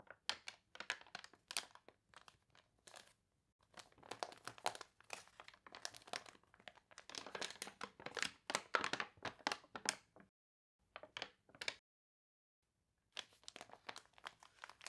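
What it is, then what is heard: Water-wrinkled glossy paper. Fingertips and long nails rub and scratch across the wavy, glossy pages of a water-wrinkled paper toy catalog, then turn a page. Dense bursts of bright, crisp crinkling and crunching come in quick clusters with short gaps, each rustle dying away almost instantly.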